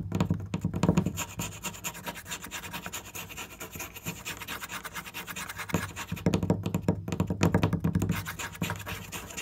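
A flat, solid wooden board with marker drawings on it is tapped and scratched with fingernails, giving fast, dense, irregular scratching mixed with short dull thunks. The sound is strongest at the start and again in the last few seconds, with a quieter stretch of steady scratching in between.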